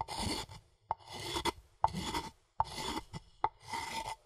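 A wooden pestle scrapes and grinds in a rasping motion inside a light, hollow, empty wooden mortar held by hand. Bursts of dry, bright rasping strokes alternate with short pauses. Sharp hollow knocks ring briefly around 890 Hz as the pestle strikes the bowl.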